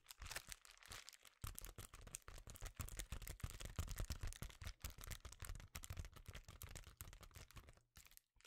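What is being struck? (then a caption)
Foil bubble insulation sheet. A small, flexible sheet of reflective foil bubble insulation is held in both hands and tapped and scratched with fingertips and nails, with occasional crinkling. The result is a dense run of quick, dry taps and scratchy rustles with soft low thumps beneath a bright, crackly sheen, each sound stopping almost instantly, with brief pauses between bursts.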